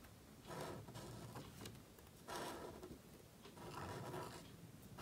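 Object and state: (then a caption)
Black paper card being written on. A calligraphy marker nib scratches across a thin, solid, flat sheet of black cardstock lying on a table while writing. The result is quiet, dry, scratchy strokes in irregular bursts with a papery rasp and a soft low-end rub underneath.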